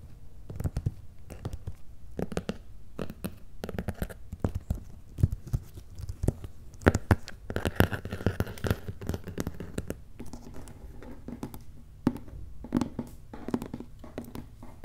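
Fingertips and short nails tap and scratch the labelled top of a medium, closed, hollow corrugated cardboard shipping box with paper shipping labels on top. The result is a steady run of quick, dull, hollow taps mixed with dry, papery scratching, mostly low in tone with very little brightness. Each tap dies away almost instantly.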